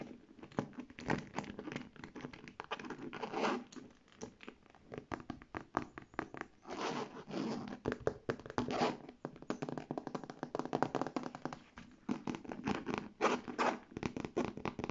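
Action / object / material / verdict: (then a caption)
scrape / faux leather handbag / faux leather / none. Long red nails scratch the saffiano-textured side of a hollow beige faux leather handbag and the strap area near its gold clasp. The result is quiet, rapid, crinkly scratching in dense bursts and short pauses, with a dry, hollow mid-range body and little ring.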